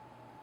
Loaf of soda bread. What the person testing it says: if you tap it does sound hollow